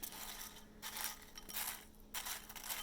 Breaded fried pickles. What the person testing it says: you can probably hear how crispy those sound